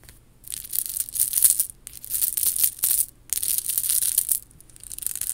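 Long nails scratch and tap across the small faux pearl beads of a worn, chunky faux pearl and rhinestone bib necklace. The result is bright, crackly clicking and rustling, with almost no low end, coming in four bursts separated by short quiet gaps.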